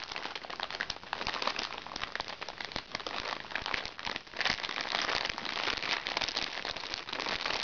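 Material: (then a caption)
Plastic. Red-painted nails scratch and press the surface of a crinkly plastic package lying flat on a lap. The result is a dense, bright crackling and crinkling with little low end. It dips briefly just after the midpoint, then returns slightly louder and fuller.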